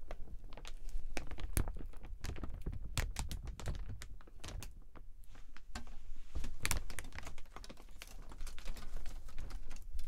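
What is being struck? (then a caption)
Transparent PVC umbrella canopy. Hands handle and crinkle the canopy of a large, open, transparent plastic (PVC) dome umbrella with metal ribs. Irregular, sharp crackles and crinkles snap in quick, uneven bursts, with bright, clicky edges over a soft low rumble.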